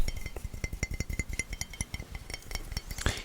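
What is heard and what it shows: Fingers tap lightly and rapidly on a newly unboxed, beautiful Demon Slayer mug, making about nineteen short clinks. Each tap has a soft low knock with a faint ringing overtone and a quick decay. A brighter, louder clink lands near the end.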